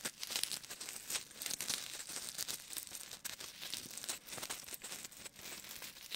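Fingertips rub, squeeze and scratch small solid white styrofoam balls held in both hands. The result is a dense, continuous stream of bright, crunchy crinkling and squeaky scratching, almost all high-frequency, with no low end and only brief dips in level.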